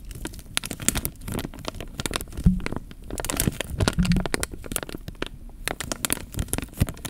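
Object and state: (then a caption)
Water-filled plastic bag. A clear plastic bag full of water, with air bubbles inside, is held against the microphone and pressed and rubbed with fingers. Dense crinkling and crackling snaps, with sharp bright clicks, sit over a heavy, muffled low-end squish and rumble. The sound is close and continuous throughout.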